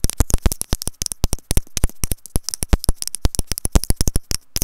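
Long nails tap and scratch a white plastic earphone inline remote and mic, held in the hand with its cable looped. The result is a rapid run of short, dry clicks, each with a deep low thump and a bright tick, cutting off almost instantly between softer scratchy rustles.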